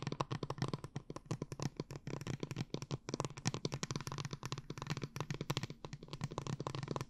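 A tall blue plastic glitter water bottle, held upright and filled with liquid, is tapped and scratched with long nails in a rapid, continuous stream of short clicks and scrapes. The taps are dry and quick with almost no ring, over a steady low hum.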